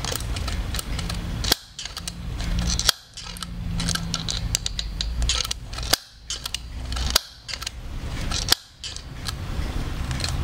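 Fingers work the eye-change mechanism on the hard plastic head of a blonde Blythe doll held beside a binaural microphone. A steady run of small, dry clicks and rattles plays over a low background rumble. Five sharp, bright snaps stand out, each followed by a brief drop to near-silence.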